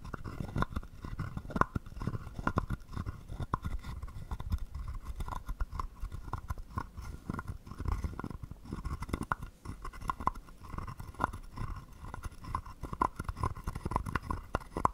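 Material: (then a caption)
Wood. A wooden stick is scraped rhythmically along the ridged back of a hollow carved wooden frog guiro held in the palm. It makes a steady run of quick, dry croaking rasps with a faint ring around 1 kHz over a heavy low thump.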